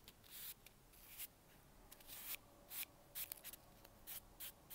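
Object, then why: Expanded polystyrene packing peanut. A single small, light white expanded-polystyrene packing peanut is held in fingers, laid on a table and brushed with a bristle brush, while a tub of other peanuts sits idle beside it. A series of short, bright, dry scratching bursts rises from a quiet hiss, with no ring after each stroke.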